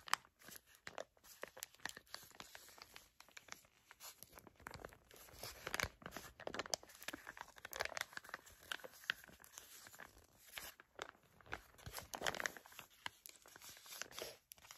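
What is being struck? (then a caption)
Foil and plastic face mask sachet. Long nails crinkle and scratch a filled, flat printed foil-and-plastic sachet of peel-off face mask. The result is a dense, continuous run of quiet, bright crinkles and sharp scratchy ticks with almost no low end. It swells into brief louder bursts of rustling throughout.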